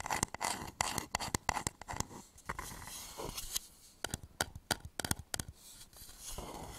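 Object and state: Wooden bowl being scratched and tapped.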